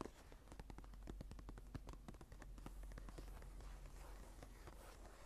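Long nails on both hands tap and scratch across the blank cream paper pages of a small journal lying open. Quick, dry taps come in a rapid, irregular stream over a soft scratchy rustle. A steady low hum sits underneath throughout.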